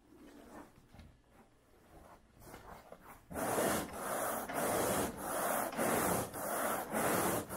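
A long-handled carpet grooming rake with a wooden pole and a dark bristle head is dragged back and forth across wall-to-wall light beige synthetic pile carpet. Soft, quiet rustling opens the clip, then it gives way to louder, steady, rhythmic scraping strokes with a bright, hissy texture as the bristles rub through the fibers.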